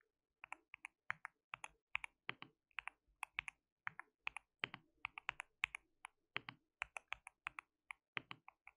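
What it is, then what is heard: Mechanical keyboard with plastic keycaps. Fingertips of both hands type continuously on a white mechanical keyboard with plastic keycaps. About 43 quick, sharp clacks land in an uneven rhythm, each bright and clicky with almost no ring. The typing is quiet and light, with little low end.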